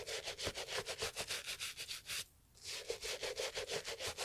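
A small bristle brush scrubs the leather upper of a brown Italian leather loafer, a hollow shoe held in a gloved hand. Rapid, steady back-and-forth strokes, about three per second, give a bright, hissy scratching with a faint hollow tone, broken by a short pause midway before the scrubbing resumes.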